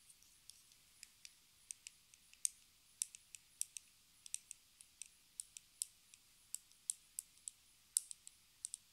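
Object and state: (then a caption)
Plastic lipstick case tapped with fingernails. A small, hollow, square pink plastic lipstick case with a gold band is held in both hands and tapped and scratched with long red acrylic nails. About 29 quiet, sharp, bright clicks come in an uneven, unhurried rhythm, each dying away at once with almost no low end.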